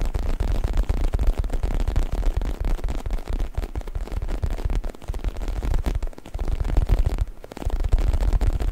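Fingertips scratch, rub and squeeze the surface of a soft, stuffed black faux leather U-shaped neck pillow held in both hands behind the mic. The result is a dense, continuous low rumbling scrunch of rapid scratchy textures with almost no high content, easing briefly twice before picking back up.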